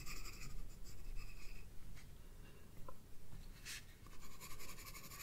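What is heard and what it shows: A green wooden graphite pencil, held by a hand with red nails, shades the bulb of a drawing on a paper sketchbook page resting on a table. Close, quiet, scratchy strokes rise and fall in an uneven rhythm over a low, steady background rumble, with occasional bright rasps of graphite on paper.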